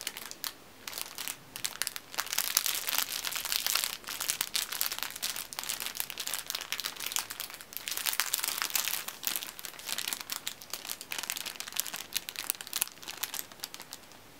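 Fingertips bend, squeeze and crinkle a thin, clear plastic cellophane sleeve held up close, with a red-and-black striped fabric neck tie inside, while another tie lies still in the background. Dense, bright crackling crinkles come in uneven bursts and near-pauses, almost entirely high-pitched with nothing in the low end. The flexible plastic rustles and snaps continuously as it is worked around the tie.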